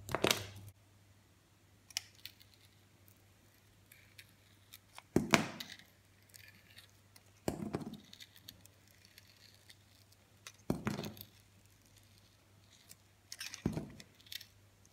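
A utility knife blade shaves the face off a hand-held solid soap bar with a rough green coating and a blue core, exposing the blue soap. Five main scraping strokes stand apart, each a short crisp, bright rasp with a low thud. Faint small clicks fall between them over a quiet background hum.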